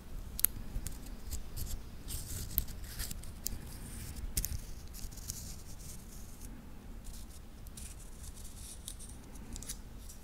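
A wristwatch with a titanium link bracelet is held in both hands while the fingertips move and click the metal links together. Sharp, bright metallic clicks and light jingling rattle over a steady low background rumble, with the loudest clicks early on and the sound settling into softer, continuous clinking.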